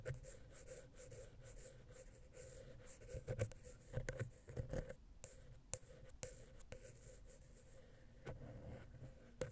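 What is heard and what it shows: A wooden ear pick scratches the silver metal XY stereo microphone capsule on a Zoom H6 recorder, first across the center and then along the side. The result is a close, muffled, low-heavy scraping and rubbing with a steady faint tone underneath. Louder knocks and sharp ticks punctuate the scraping through the middle and near the end.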